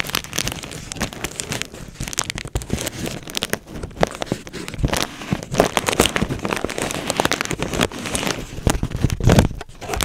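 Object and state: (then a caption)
Plastic bubble wrap. A clear plastic bubble wrap sheet is held close to the microphone while fingertips pinch and pop its bubbles. Dense, sharp pops and crackles overlap with steady crinkling of the plastic. The bursts run almost without pause through the whole clip, with short, dry snaps that fade quickly and reach up into bright highs.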